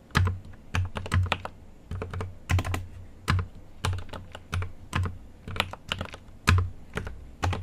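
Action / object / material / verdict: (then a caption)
tap / mechanical keyboard with plastic keycaps in a metal case / plastic / none. A GMMK Pro mechanical keyboard with an aluminum case and plastic keycaps is typed on continuously with the fingertips of both hands. The steady, uneven stream of taps has a deep, low thock under each bright, sharp click, and each tap dies away quickly.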